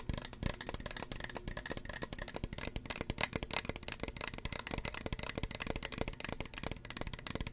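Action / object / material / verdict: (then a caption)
tap / plastic spray bottle / plastic / none. A small, hollow red plastic spray bottle with a white plastic cap is tapped rapidly with long fingernails close to the mic. The result is a dense run of sharp, dry clicks that die away almost at once, with bright, crisp ticks around 2 kHz over a light hollow thud.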